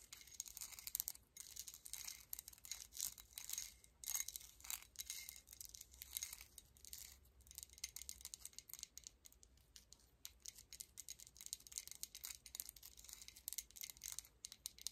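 A large, solid, flat gold-tone metal coin medallion with an embossed face, still on its chain necklace, is held in both hands and tapped and scratched with long acrylic nails. Quick, bright metallic clicks and scrapes come in dense clusters, with faint jingling from the chain.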